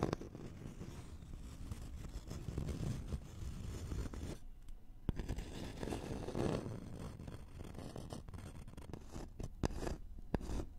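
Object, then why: Thin flat wooden board with a scalloped edge. A thin, flat, solid wooden notched trowel board with a scalloped edge is scratched with the fingernails of both hands. The result is a steady, dense, low, rustling scratch with scattered sharp taps and a brief pause of quieter scraping in the middle.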